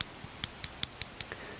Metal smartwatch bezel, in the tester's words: yes the Basel clicks I'm sure you can hear that click as I tap tap on the Basel